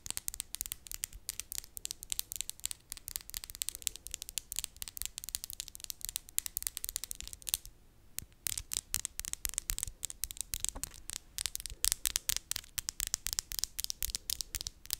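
Long white and glitter acrylic press-on nails on both hands are tapped and scratched nail against nail close to a microphone. Rapid, crisp, bright clicks and scratchy ticks run almost continuously, with a brief pause just before the 8-second mark. Each click is very short and dry.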